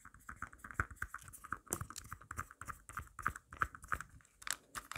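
Long black nails scratch and tap quickly around the pop grip and surface of a marble-print plastic phone case held up close. The result is a dense run of short, dry clicks and scrapes, centered around 1.3 kHz with bright high edges.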